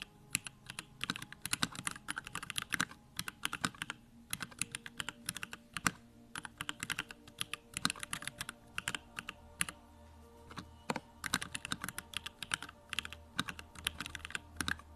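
Fingertips of both hands type continuously on a compact 65% Bakeneko65 mechanical keyboard with a pink aluminum case, Durock lavender switches and plastic keycaps resting on a desk. Rapid, bright, short clicky-clacky keystrokes come in bursts with brief pauses, each strike dying away almost instantly over a faint low hum.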